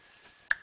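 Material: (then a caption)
Plastic composite. A Duralast molded plastic composite water pump impeller with molded-in vanes, for a BMW 330i (E46), is held and tapped once, giving a single sharp tick at about half a second. The tick has a short ringing tone near 1.7 kHz that fades quickly over a faint background hiss. The tap sounds somewhat metallic but reveals the part as composite, in contrast to a Graf stamped metal impeller.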